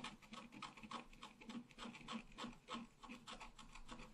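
A wooden stylus scratches flower and branch details into a thin scratch art paper sheet lying flat. The result is a quiet run of short, dry, rasping strokes at a fairly steady pace, with a bright papery hiss over a soft low body.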